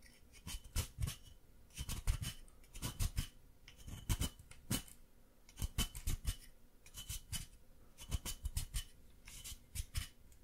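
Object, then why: Plaster excavation block scraped with a wooden stick. A wooden stick scrapes a solid white plaster excavation block held in the hand, with powder falling onto the table. Short, dry, gritty scratching strokes come in quick bursts with brief pauses between them, each stroke cutting off sharply over a quiet low background.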